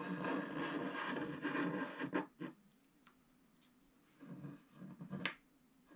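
A wooden stylus scratches along the right edge of a flat black, wax-coated scratch art sheet to draw a snowy tree. Two seconds of continuous dry, raspy scraping give way to a couple of short, sharp strokes, then a quiet pause. A final run of scratching ends on a bright, crisp stroke.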